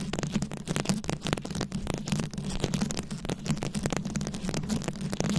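Long nail tips scratch rapidly over the beads of a rhinestone-studded microphone head, producing a dense stream of short, crackly scratches and clicks. The close-miked sound also carries a steady low rumble under the scratching.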